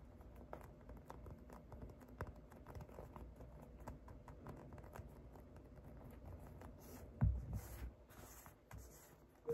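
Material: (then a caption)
Polyurethane foam. A hand-sized, solid polyurethane foam unicorn squishy toy with a painted surface, blue body, pink and purple mane and yellow horn, is held in one hand and tapped and scratched with medium-length painted fingernails and fingertips. It makes a quiet, steady patter of soft, dull taps and light scratching, mostly low and muffled. A brief, louder thump comes near the end.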